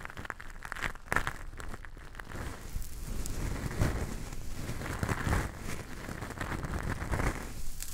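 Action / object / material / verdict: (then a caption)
scrape / coarse rock salt crystals / rock salt / none. Fingertips scoop, squeeze and rub handfuls of loose, coarse pink Himalayan rock salt crystals. The grains trickle and crunch between the fingers in a steady, dense crackling and crinkling with a low, muffled body and scattered bright ticks.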